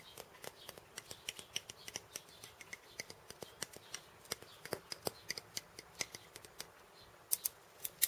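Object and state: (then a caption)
Wooden cabasa with steel bead chains, tapped and scratched. Fingers with painted nails tap the wooden end disc of a wooden cabasa and scratch its steel bead chains. About forty quiet, sharp, dry clicks and ticks follow in a steady, uneven patter, bright and high-pitched with almost no ring or low end. A few louder, brighter rattling bursts come near the end.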